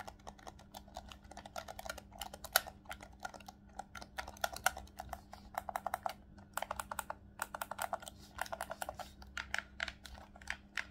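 Fingertips rapidly tap and click the top shoulder buttons and triggers of a hollow, black plastic Nintendo Switch Pro controller held in both hands. The result is a dense, irregular stream of quick, dry, bright plastic clicks with no ring, over a faint steady low hum.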